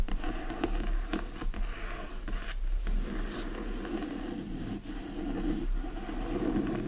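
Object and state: Hardcover book scratched.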